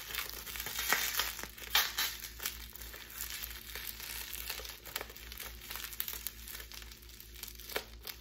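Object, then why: Plastic bubble wrap. A small crumpled bundle of clear plastic bubble wrap, held in both hands, is squeezed and crinkled with fingers and long pink nails. It makes a dense, bright crinkling with scattered sharp crackles and snaps over a faint, steady low hum. The sound stays quiet and irregular throughout.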